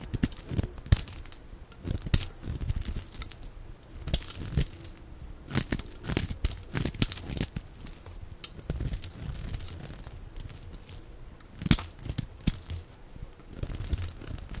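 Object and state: Bar soap being scraped and cut.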